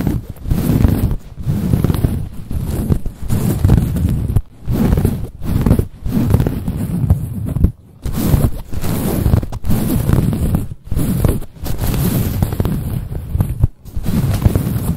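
Long nails scratch the soft surface of a cream quilted, padded nylon-like fabric bag with a stitched diamond pattern. A dense, low rustling scrape comes in steady bursts separated by short pauses.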